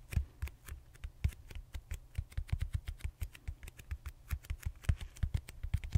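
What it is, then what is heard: Foam roller. Fingertips and short nails tap and scratch the textured surface of a large, purple, solid styrofoam foam roller held horizontally. A quick, irregular stream of soft, dry taps follows, each a low thump with a brief bright click that dies away almost instantly.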